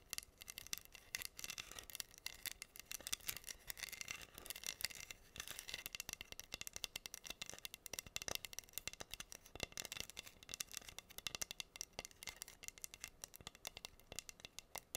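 Long nails scratch and tap across a flat, solid wooden heart board covered in pink acrylic rhinestones. The result is a steady stream of quiet, crisp, bright clicks and scratchy ticks that stop dead with no ring and have almost no low end.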